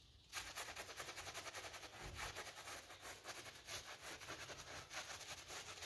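A gloved hand scrubs a flat pink PVC loop (coil) door mat, wet and covered with mud and soap, on a tiled floor with a stiff-bristle brush. After a brief quiet start, a steady run of rapid, bright, scratchy bristle strokes follows, with a wet hiss and faint low thumps.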